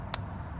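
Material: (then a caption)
Steel. A loose steel wrist pin in a piston from a 1987 Honda Civic CRX B20 swap engine is rocked back and forth with a finger. It gives one sharp, bright metallic click with a high ring over a quiet low hum. The play shows the wrist pin is worn out and not as it should be.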